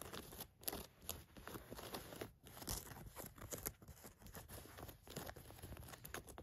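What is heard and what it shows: Long nails scratch khaki cotton canvas work pants lying flat, working over the waistband, the button area and the orange elastic waistband lining. The result is a steady run of dry, rasping scratches and soft crinkles, with brief quiet gaps between strokes and bright, hissy highs over a low rumble.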